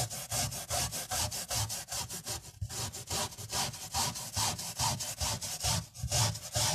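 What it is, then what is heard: Miniature fabric carpet being scrubbed. A tiny bristle brush scrubs foam into a small tan woven fabric carpet with a black swirl pattern, lying flat on a white surface after hands press it down. Quick, fairly steady back-and-forth strokes make a bright, hissy scratching over a soft low rubbing thump. About 25 strokes come in a steady run.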